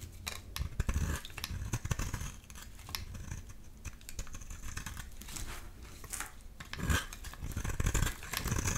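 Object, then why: Bar of soap scraped with a metal blade. A metal utility-knife blade scrapes and shaves curls and flakes off a solid light-blue oval bar of soap held in the hand. The result is a steady run of crisp, dry scraping and crackling strokes with soft low thuds beneath, swelling into louder bursts now and then.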